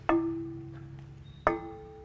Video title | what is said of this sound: AA5 - The Complete Preflight | not a dead sound if you do this and don't hear that nice ringing you may have a crack somewhere in the prop